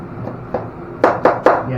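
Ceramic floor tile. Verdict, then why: Hollow. A ceramic floor tile laid over an old sheet-vinyl installation is tapped five times: two soft knocks, then three sharper, louder ones. Each gives a short, hollow midrange knock that dies away quickly over a low background hum. The hollow sound shows the tile is not bonded.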